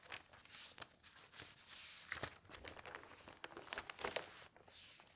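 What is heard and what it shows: Hands with long nails smooth the sheets of an open newsprint newspaper lying on a table, turn a page, and rub it flat. The result is a quiet, bright paper rustle with dry crinkles, soft swishing rubs, and short crisp ticks, with almost no low end.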